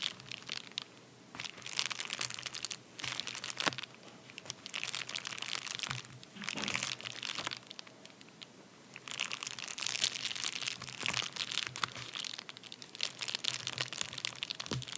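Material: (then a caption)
Paper. A medium white padded paper bubble mailer resting on a towel is crunched with the fingertips and short nails of both hands. Bursts of dry, bright crinkling and crunching come in waves, separated by brief quieter pauses, with almost no low end.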